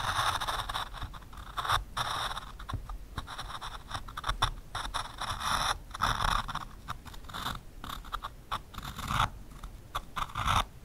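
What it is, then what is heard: Pencil tracing on plywood through a plastic stencil. A pencil scratches and draws lines on a thin solid plywood board through the openings of a taped white plastic stencil. The result is a steady run of dry, scratchy scraping strokes with short bursts, centered in the upper mids around 1.3 kHz, with some bright hiss and a faint low rumble underneath.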